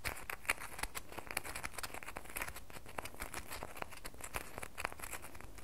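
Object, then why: Bar of soap. Long nails scratch and patter quickly on the sides of a solid red bar of soap held in both hands. The result is a quiet, dense stream of short, dry taps and bright scratchy clicks with no lingering ring, and a few sharper taps stand out from the steady rustle.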